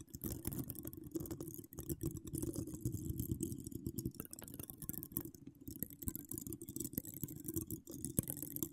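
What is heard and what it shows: Long acrylic nails decorated with donut charms scratch a hollow woven metal mesh microphone grille. The result is a dense, continuous run of rapid, dry scraping and clicking, weighted heavily toward the low end with a muffled, rumbling texture and only faint bright edges.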